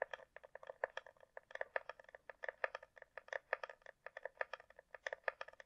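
A closed, hollow hard-shell glasses case with a glossy coated shell, probably plastic, is held in the air and tapped on its underside with long nails. The taps are rapid, irregular and clicky, with a hollow tone near 540 Hz and a brighter edge around 2 kHz. Each tap is short and dry, with almost no ring and no low end.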